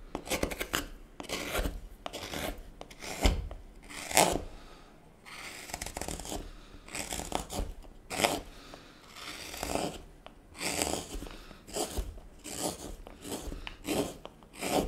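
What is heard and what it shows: A hook knife held in taped fingers scrapes and carves the inside of the partly hollowed bowl of a solid wooden spoon blank, with shavings sitting in the bowl. Repeated dry, raspy scraping strokes come in short bursts, bright and grainy, with brief quiet gaps between cuts.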